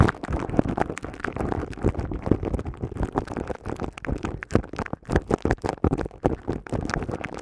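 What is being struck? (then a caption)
Woven metal mesh microphone grille. Long cream-coloured nails scratch and tap the hollow, hand-sized silver woven metal mesh head of a studio microphone. The result is a dense, steady run of crackling scrapes and quick, dry taps that is heavy in the low end and muffled, with very little bright content.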